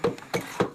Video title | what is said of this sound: A Arca de Noé foi descoberta em 2010, pela expedição NAMI. Leg. Português. Este é o documentário. | it's wood okay it's Hollow listen to that sound